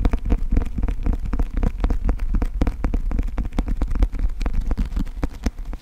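Fingertips and nails tap and scratch the glossy cardboard cover and edges of a closed, thick, solid paperback book held in both hands. Dozens of quick, dry taps come in a steady stream, each with a soft low thump around 82 Hz and a bright, clicky edge. Brief scratchy rustles fill the gaps, and each tap dies out almost at once.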